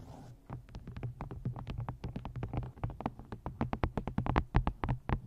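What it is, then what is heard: Paperback book cover tapped with nails. Long nails tap and scratch the card front cover and edges of a paperback book in a quick, uneven run of about thirty sharp, dry taps that die away almost instantly. A steady low hum sits underneath, and the taps grow slightly louder toward the end.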